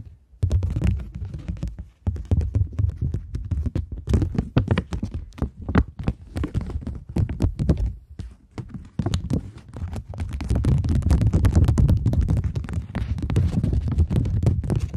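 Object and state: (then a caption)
Polymer banknote being scratched and flexed. A thin plastic polymer £20 banknote is held between the fingers, scratched with long nails and bent and flexed by hand. Rapid, irregular crinkles and scratchy clicks form a dense, close-up texture with a heavy low thump and sharp bright edges, pausing briefly near 2 and 8.5 seconds. The sound grows fuller and more continuous toward the end.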